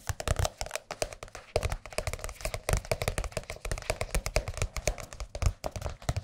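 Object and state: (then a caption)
Softcover book tapped with fingertips. A large, thin, blue glossy softcover Jazz Piano music book is held upright and tapped on its cover with the fingertips of both hands. The result is a rapid, uneven stream of short, dull, low-heavy taps with almost no ring, some landing in quick flurries.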